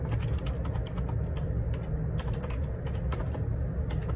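Fingertips type a steady run of key taps on the plastic keycaps of a black Perixx Periboard 612 wireless Bluetooth split ergonomic keyboard resting on a grey table. The short clicky strikes sit over a dense low rumble, with little background noise.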